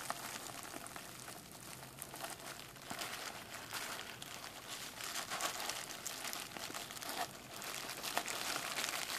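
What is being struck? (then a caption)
Plastic bubble wrap sheet. A rolled, clear plastic bubble wrap sheet is held up and crinkled and popped between fingers. A steady, bright crackling fills the clip, with sharp little pops scattered irregularly through it and almost no low end.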